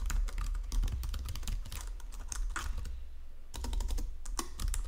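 Fingertips with painted nails type across a full-size white and silver plastic Logitech keyboard with low-profile keys resting on a marble desk. Quick, bright plastic clicks patter in a steady stream over a constant low hum, with a short lull just past the three-second mark before the typing picks up again.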